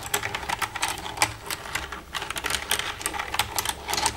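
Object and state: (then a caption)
Plastic computer keyboard. Long red-painted nails tap and type across the keys of a black plastic desktop computer keyboard with a hollow casing, using both hands. A quick, uneven run of sharp, bright plastic clicks and clacks is heard, each one dying away almost at once over a faint low hum.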